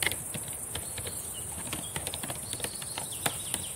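Long painted nails and fingertips type on a black laptop keyboard with plastic keys. The result is a quick, uneven run of short, dry clicks and taps, bright and crisp with almost no ring, over a faint steady high hiss.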